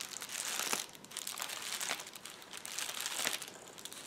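Fingertips press, squeeze and scratch the air-filled bubbles of a flat sheet of clear plastic bubble wrap. The result is a steady, quiet crinkling with bright, high rustles and soft crackles that swell and fade in loose, irregular waves, with no low-end weight.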